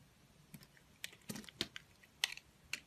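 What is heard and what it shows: A utility knife blade carves thin curls off the surface of a solid blue oval bar of soap held in a hand with long nails, its wrapper lying untouched nearby. About eight short, crisp, bright scraping clicks sound apart over a quiet background, each cut dying away almost at once.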